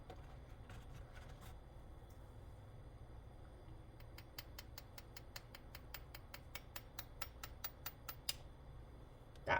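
A raw chicken egg in its shell is tapped gently in a steady series of light, bright clicks over a low background hum, and a louder crack sounds at the very end. The crack means the membrane has separated from the shell, so the egg should be easy to peel after boiling.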